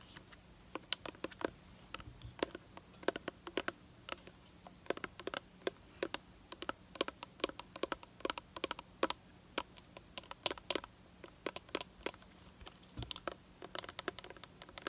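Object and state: Plastic hair care bottle.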